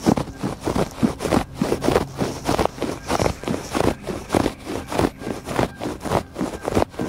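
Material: Woven fabric.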